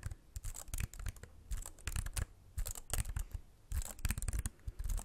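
Fingertips tap the plastic keys of a slim white computer keyboard held up and tilted toward the mic. The result is quiet, irregular bursts of short, dry clicks with bright ticks over soft low thuds.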